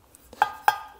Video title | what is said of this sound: Les Secrets pour une Compression Moteur PARFAITE à 100% ! 👌(Peugeot 106 Propulsion) | On entend le bruit quand je rôde la soupape, là, quand je tourne le rodoir, on entend que ça s'affine.